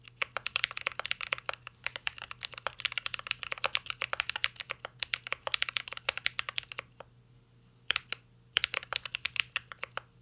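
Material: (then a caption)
Plastic, aluminum. Fingertips of both hands type on a full-size CYBERBOARD R3 mechanical keyboard with an aluminum case, plastic keycaps and Holy Panda switches. Rapid, bright, sharp clicks and clacks come in dense bursts, with short pauses near seven and eight seconds before a final flurry. A faint steady low hum sits underneath.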